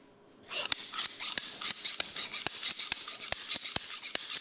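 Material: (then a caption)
Steel. Large dark steel tailoring scissors of solid metal, held in both hands, are opened and closed in the air without cutting anything, so the blades scrape against each other. After a brief quiet start, a quick run of bright, hissing metal swishes follows, each broken by a sharp high click as the blades meet.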